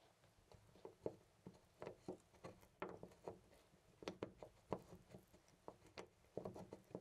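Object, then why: Metal door knob. A loose brass-finish metal door knob on a white panel door is gripped by the fingertips and jiggled, so it rattles in its mounting. About twenty quick, dry clicks and taps come in uneven bursts, centred around 430 Hz, with very little ring after each. The result is a quiet, loose metallic rattling.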